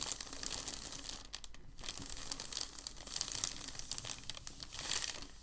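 A large, thin, white crumpled sheet of packing paper is smoothed and rubbed flat under the palms, then lifted with both hands. The result is a dense, steady, bright crinkling and rustling with quick crackles throughout, swelling louder as the sheet is lifted near the end.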